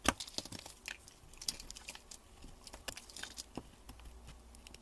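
A metal utility blade shaves the edges of a solid cream bar soap held in gloved hands, with its wrapper lying nearby. Quiet, irregular crisp scraping and crackling strokes, sharp and bright with a short snap at the start, fade quickly between cuts.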